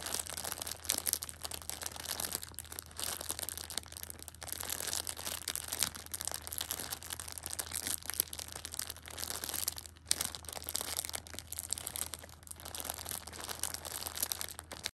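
Fingers with red-painted nails grip and squeeze a Shopkins pocket tissue six-pack wrapped in clear plastic film, producing soft, continuous crinkling and crackling. The sound is bright and dense, with a faint steady low hum underneath.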